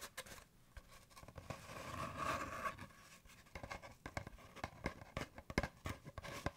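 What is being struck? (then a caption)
Cardboard paper towel tube. An empty, hollow brown cardboard paper towel tube is held in one hand and rubbed and scratched with the fingers. Soft, dry scratching builds into a longer swelling rub in the middle, then gives way to many quick, sharp scratches and ticks with a hollow, papery, bright edge.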